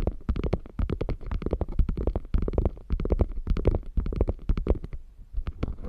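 Long nails scratch quickly along the flap rim and piping seam of a beige quilted faux leather bag. The result is a dense run of short, dry, rasping strokes with a heavy low rumble and a brighter scratchy edge.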